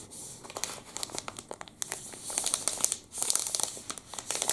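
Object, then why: Plastic candy wrapper. A full, long black and red plastic wrapper from a Pepe liquorice stick is crinkled and rubbed with the fingertips. It makes a steady stream of bright, crisp crackles and sharp ticks, almost all in the high range with hardly any low end. The crinkling briefly dips near the three-second mark, then returns with louder snaps.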